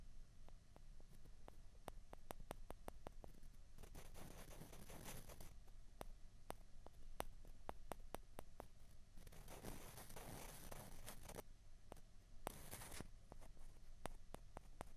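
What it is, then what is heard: Plastic ping pong balls. Two small hollow white plastic ping pong balls are pressed together and scraped against each other with the fingers. Quiet, sharp, dry clicks tap out steadily throughout, broken by softer, breathy scraping bursts. The clip is low in level with a muffled, bass-heavy background.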